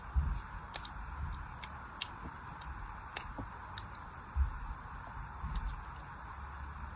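A solid pink bar soap with a crosshatched surface, held in the hand, is scored with a thin metal needle or blade. Short, dry scratching ticks sound over a steady low rumble, with bright clicks spread through the clip and a soft thump near the start and another later on.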